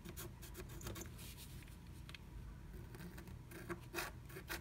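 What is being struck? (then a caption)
Coated scratch art paper scratched with a wooden stylus. A wooden stylus scratches a black-coated scratch art card along the letters V and E, through a blue stencil held down by fingertips. Quiet, dry rasping strokes come in short, bright scratchy bursts over a soft, steady low rumble. The strokes stop abruptly with almost no ring.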